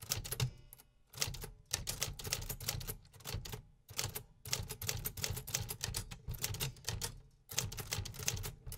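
A 1950s Remington metal typewriter is typed on with fingertips in a steady rhythm, producing dense bursts of sharp mechanical clacks with bright highs and a low thud beneath each keystroke. The runs of typing are separated by brief pauses.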